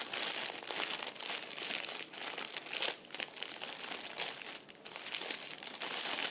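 A small, thin, clear plastic bag partly filled with red-and-white plastic candy wrappers lies on a chair seat and is pressed and crinkled by fingertips and the whole hand. The result is continuous bright, crackling plastic crinkling with short dips between squeezes and no low end.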